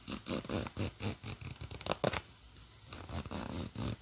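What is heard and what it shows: Long nails scratch and rub along the black plastic zipper teeth and the crinkly nylon lining of an open, hollow, empty-looking green nylon bag. About a dozen quick, raspy scratching bursts come in an uneven rhythm, with a brief quiet gap partway through before the rubbing resumes.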